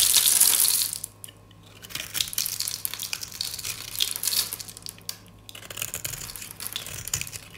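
A metal utility-knife blade scrapes a solid round disc of dry white soap, held in a hand with long dark nails, shaving it into flakes. Dense, bright, crisp scraping and crunching bursts are loudest at the start, drop to near quiet for about a second, then return in quicker, softer strokes.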